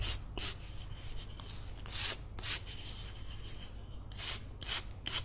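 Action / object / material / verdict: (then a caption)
scrape / carved wooden figurine / wood / none. A solid carved wooden cat figurine, held in one palm, is scrubbed with a green toothbrush, including between its ears. Seven short, bright, hissing bristle strokes come in uneven bursts over a faint low hum, with soft rubbing between them.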